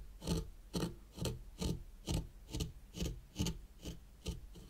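A white plastic rake handle, held by long-nailed fingers, is pulled through fine sand in a small hexagonal zen garden tray. Eleven soft, raspy scraping strokes repeat at a steady, unhurried pace, each with a low grainy body and a faint bright hiss.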